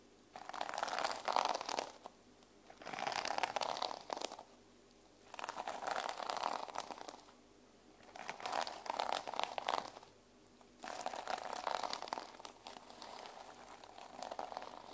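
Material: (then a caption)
Plastic. Fingertips and short painted nails rub and scratch across the teal reversible plastic sequin fabric cover of a small, notebook-sized solid journal held in both hands, flipping the sequins. Five bursts of dense, crackly scratching and rapid clicking, bright and papery-sounding, are separated by short near-silent pauses, with the last burst running to the end.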